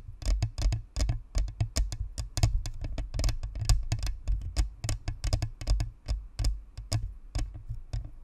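Long nails rapidly tap and scratch the top and sides of a hollow white plastic spherical USB microphone. The result is a steady patter of sharp, dry clicks with bright ticking tops over a heavy low thump, each hit dying almost instantly.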